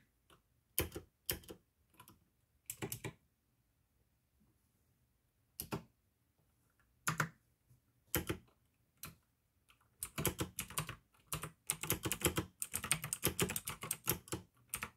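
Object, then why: Plastic mechanical keyboard. Fingertips type slowly on a full-size pink AUKEY plastic mechanical gaming keyboard with RGB backlight, clicky blue switches and a hollow case. Sharp, bright clicks come in short scattered bursts separated by quiet pauses. After about ten seconds they give way to a denser, faster stretch of continuous clacking.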